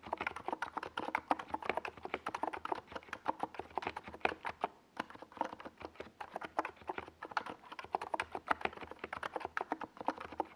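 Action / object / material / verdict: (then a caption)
tap / plastic mechanical keyboard / plastic / none. Fingertips type continuously on a small 68-key NiZ Plum Atom 68 mechanical keyboard with a white plastic case and purple and yellow plastic Domikey Gas Attack SA keycaps, resting on a desk pad. A rapid, steady stream of short, dry, clacky keystrokes is heard, with the sound centered in the midrange. There is a brief lull near the middle before the typing picks back up.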